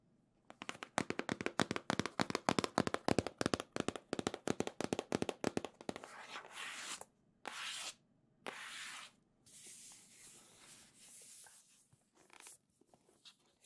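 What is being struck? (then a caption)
Printed cardboard console box. Long nails tap rapidly on a hollow, printed cardboard Nintendo Switch box, making dozens of dry, sharp clicks with no ring for about six seconds. The nails then scratch across several faces of the box in longer, bright, hissing strokes separated by short pauses.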